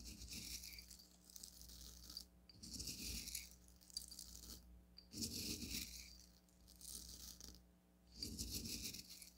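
Fingertips with long nails pinch, lift and drop coarse blue bath salt crystals in a small onyx stone cup. The crystals make a bright, high rattling patter that comes in repeated bursts with quiet pauses between, with a soft low rumble under each burst.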